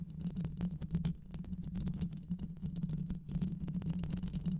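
Long white acrylic nails scratch the rounded metal mesh grille of a black microphone with a hollow head, using both hands. A dense stream of quick, rapid scratches and taps rides over a low, steady hum, with a brief lull near the middle before the scratching picks up again.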